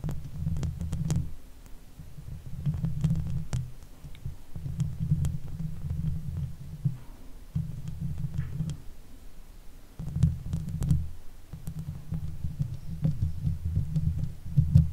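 Long fake nails scratch the hollow steel mesh grille of a silver Blue Yeti microphone, producing deep, muffled rumbling bursts in repeated waves with faint bright ticks of nail on metal. Toward the end the hands drift to the sides of the microphone.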